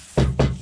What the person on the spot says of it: that sounds like metal it's actually probably a pretty decent car